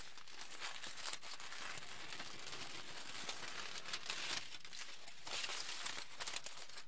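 A wrinkled aluminium foil sheet is crumpled and torn apart by both hands, making a continuous bright, crackling crinkle with sharp rustling bursts and brief lulls. The sound stays fairly quiet and steady throughout, its crisp hiss reaching high into the treble.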